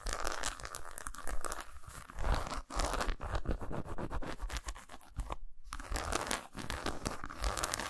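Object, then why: Milk chocolate bar. Fingernails scratch across the squares and grooves of a solid milk chocolate bar lying lengthwise on a towel. The result is a dense, continuous run of dull, crunchy scraping and rough crinkling, heavy in the low end, with a brief silent gap just past the five-second mark before the scratching resumes.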